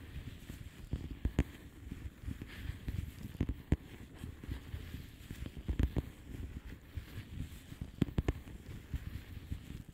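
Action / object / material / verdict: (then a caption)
tap / plastic bubble wrap envelope / plastic / none. Long polished fingernails tap on a flat blue plastic bubble wrap envelope, making soft, dull low thuds with occasional sharper clicks. The taps are quiet, short and dry, with almost no ring, scattered irregularly over a steady low rustle throughout.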